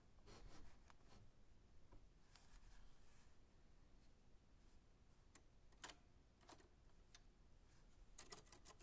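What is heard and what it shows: A 1940s Smith-Corona manual typewriter with a black metal body and round keys is handled by white-gloved fingers that press individual keys and tap around the keyboard and frame. Quiet, dry clicks and taps with bright, sharp edges sound over a low, steady rumble, with a few louder key strikes near the middle and end.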